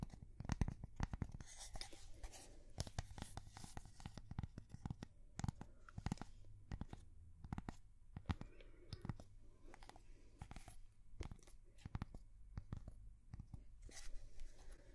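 A thin, flat, square solid cork coaster is held in both hands and tapped and scratched with long fingernails. The result is a quiet, continuous stream of rapid, short, dry taps and crackly scratching strokes. A steady low hum runs underneath.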